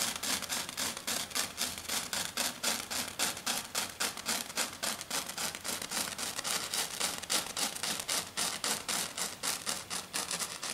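A hand with long dark nails scratches fast and hard across a flat silver glitter foam sheet. The result is a steady run of quick, dry, rasping strokes, about three or four per second, bright and hissy with almost no low end. Each stroke stops short with no ring.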